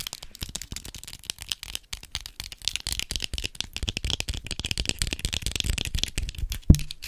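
A large hollow white plastic skeleton spider prop is held in both hands and tapped and scratched with long acrylic nails. The result is a rapid, continuous stream of light clicky taps and bright scratchy rasps over a hollow low thump, with one louder knock near the end.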